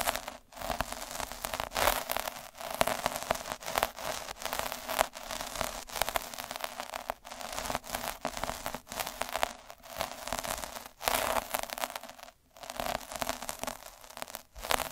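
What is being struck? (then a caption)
Felt sheet with metal-spiked roller. A derma roller with metal spikes, held in the fingers, is rolled and scratched across a square of red felt. The result is a continuous dry, crackling scratch with bright, hissy texture and many rapid tiny ticks. Brief pauses break the sound near the start, around 11 and 12.5 seconds, and just before the end.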